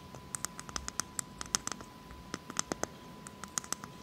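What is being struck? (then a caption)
Whole coconut shell. Long fake nails tap and scratch a whole, hollow, brown hairy coconut shell held in the hands. About 21 short, crisp, bright clicks come in irregular bursts over soft scratchy rustling, with a faint steady tone underneath.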